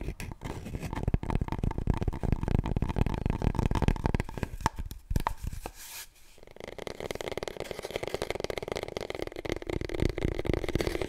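Long nails rapidly tap and scratch the spiral-wound surface of a long, hollow, empty cardboard paper roll tube, first held diagonally and then upright. The first half is a dense, deep, hollow patter. After a brief quiet pause near the middle, the tone shifts to a thinner, steadier scratchy tapping with a more resonant mid-range ring.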